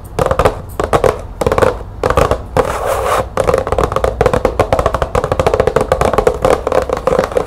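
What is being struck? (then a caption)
Cardboard light bulb box. Long nails tap quickly on the side of a green printed cardboard light bulb box, then the box is tilted toward the camera. The hollow taps come in dense, short bursts with a mid-pitched resonance and little high end. A smoother, brushing stretch briefly interrupts them before the tapping resumes.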